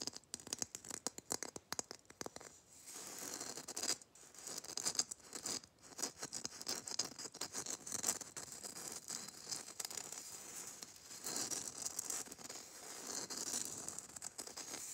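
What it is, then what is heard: Glitter-coated Christmas bauble. Long nails tap and scratch the gritty surface of a small, hollow, gold glitter-coated Christmas bauble. The result is a dense run of fast, dry, crackling clicks and rasping scrapes. It is bright and high with almost no low end, and each tick cuts off instantly.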